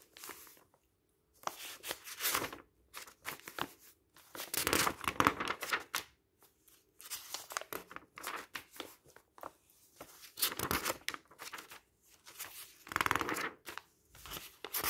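Fingertips turn and flip the printed pages of a thin paper instruction booklet lying open on a pile of papers. Bursts of dry, crinkly rustling and papery swishes come in irregular clusters with short quiet gaps, bright and airy with almost no low end.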